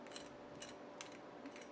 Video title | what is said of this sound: Thanksgiving Sweet Potato Pie - Holiday Recipe | the crumble is still nice and crisp even after. You can hear it actually. Hear how crispy that is?